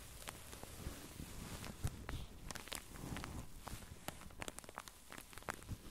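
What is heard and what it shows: Long painted acrylic nails scratch and tap across a pink, padded satin sleep mask with embroidered closed eyes, which lies flat on a felt mat and is soft and filled. A low, soft rustling bed runs throughout, broken by many quick, bright, crisp ticks and scrapes that die away almost instantly.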